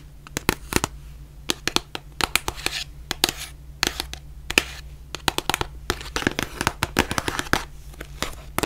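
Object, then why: Cardboard face mask box. Long nails tap and scratch a white printed cardboard face mask box, making quick, irregular, sharp clicks with bright crackly edges. Softer scratchy rustling runs between the taps, over a steady low hum.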